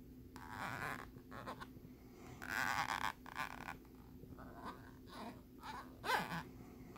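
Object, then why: Ridged plastic lenticular card scraped with a metal pin. A metal bobby pin scratches across the ridged surface of a flat plastic lenticular nebula picture card held on a wooden board. It makes a series of raspy, bright scratching strokes of varying length over a faint steady low hum, with one sharper stroke near the end.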